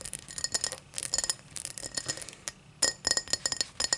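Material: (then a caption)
Glass. A tall drinking glass is tapped in quick, irregular bursts, giving bright, high-pitched glass clinks. Each tap rings briefly with a clear tone before fading, with almost no low-end body.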